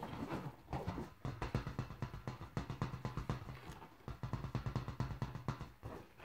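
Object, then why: Inflated latex balloon. Fingertips and painted nails repeatedly tap and bounce a large inflated yellow latex balloon, hollow and full of air, resting on grey carpet. Each tap gives a short, dull, hollow thump with a low pitch around 130 Hz and almost no high-frequency content. The thumps come in quick, irregular bursts throughout the clip.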